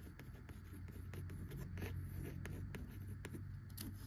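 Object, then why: Cloth-covered hardcover book. Long acrylic nails tap and scratch across the worn tan cloth front cover and embossed lettering of a closed vintage hardcover of "An Old Fashioned Girl" by Louisa M. Alcott, lying flat on a wooden table. Soft, irregular taps and light scratching sit over a steady low hum.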